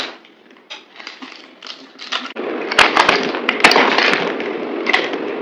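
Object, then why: Bar of soap scraped with a knife blade. A yellow utility knife blade scrapes and cuts into a dry, solid green soap bar held in the hand, partly carved into cubes, with gold-wrapped soaps nearby, flaking off crumbly pieces. Soft, scratchy strokes come first, then the sound turns into louder, dense, bright crunchy scraping with sharp crackling snaps as the blade digs in.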